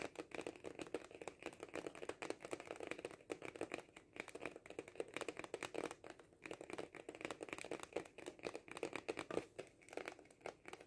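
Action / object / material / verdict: tap / cardboard kaleidoscope tube / cardboard / none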